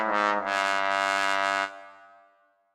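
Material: Nothing is struck.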